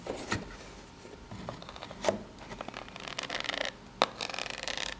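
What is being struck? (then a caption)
Corrugated cardboard box. Long pink-polished natural nails scratch and tap the ridged surface of a small rectangular corrugated cardboard box, likely empty, held upright in both hands. Dry, bright rasping scrapes run throughout, broken by a few sharper, louder taps.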